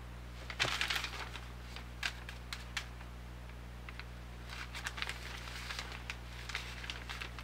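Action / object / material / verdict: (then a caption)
scrape / thin newsprint ad flyer / newsprint paper / none. A large, thin newsprint weekly grocery ad flyer with a green organic banner is held in both hands, then opened, folded and crinkled with fingertips and nails. Bright, papery rustles and crackles come in clusters over a steady low hum, with a denser burst near the start and another toward the end.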